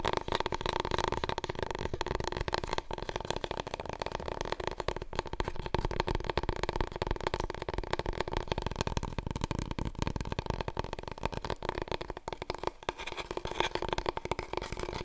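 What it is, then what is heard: Long cardboard roll core. A large, long, hollow, empty brown cardboard paper roll core is held in both hands while long nails tap and scratch rapidly along its surface. The result is a dense, continuous stream of quick dry taps and scratchy crackles with a hollow low resonance.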